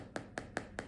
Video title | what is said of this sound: Recipe: Baking pretzels with Caroline https://youtu.be/O7kuoOGxeXk | you tap the bottom can you hear that sound that means they're cooked they're a little bit hollow